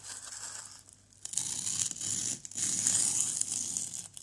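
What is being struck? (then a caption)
Small plaster block scraped with a plastic knife. A white plastic knife scrapes a small, solid orange plaster excavation block, making a dry, bright, gritty scratching. After a soft opening and a brief lull, two longer bursts of rasping follow, each ending in a short pause.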